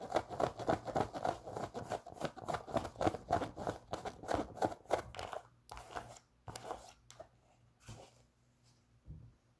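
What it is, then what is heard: Knit fabric sneaker. A pink Champion sock-style sneaker, hollow and empty, with a knit fabric upper and a foam sole, is held in the hands and scratched with long pink nails. Quick, dense scratching strokes come about three to four per second for roughly five seconds, giving a dry, brushy texture with a bright hiss. The strokes then thin out into sparse, softer scratches that fade toward the end.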